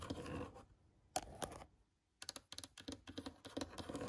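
A finger scratches and taps the surface of an old, weathered, cracked solid wooden board with nail holes. A soft scratching fades out, then a sharp tap and brief rubbing come before a near-silent pause. A quick, uneven run of dry taps and short scrapes follows, each dying away almost at once.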